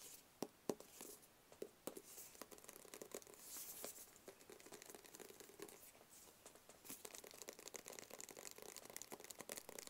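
Long fingernails tap across a flat black cardboard gift box with printed lettering on its face, held close to the face. The taps are quiet, crisp and clicky, with a bright, papery edge and almost no low end. Each tap dies away almost instantly, running into a busy stream of light scratchy crinkling.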